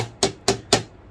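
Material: Plastic.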